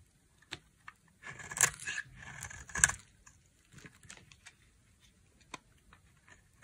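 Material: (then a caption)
Soap. A dry, solid pink bar soap with a brown coating is held in the hand and shaved and sliced with a utility knife blade. Crisp, bright scraping strokes are heard, with two louder cuts in the middle, then scattered short clicks and taps.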